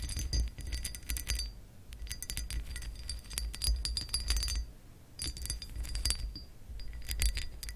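Long acrylic nails scratch and tap the embossed ridges of a hollow textured glass lamp base. Bursts of bright, glassy clicks and rasping scrapes come and go over a steady low hum. Each tap dies away almost at once.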